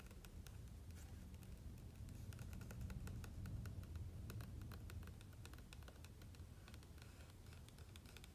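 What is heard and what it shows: Fingertips and nails tap and rub the glossy coated paper of the right-hand page of a large open hardcover book lying on a grey surface, then start to lift the page. Quiet, irregular bright ticks and soft rubbing scratches sit over a steady low rumble that swells slightly in the middle.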